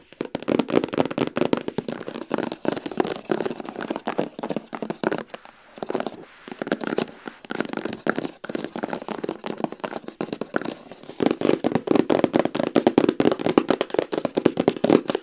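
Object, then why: Cardboard box tapped with fingernails. A long, rigid, hollow white cardboard gift box with a lid lies on the floor while long acrylic nails tap quickly along its front edge and top. The result is a dense, rapid stream of dry, crackling clicks with almost no ring, centered in the low-mid range around 300 Hz. There are brief quieter pauses near six and eight seconds.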